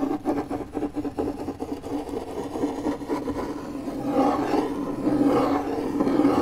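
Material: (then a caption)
MDF. The tip of a metal car key, held between the fingers, scratches circles across a large, flat, pale, solid MDF fiberboard panel. The result is a rough, raspy scraping with a mid-pitched body and little deep bass, repeating in uneven strokes. It grows slightly louder and fuller in the second half.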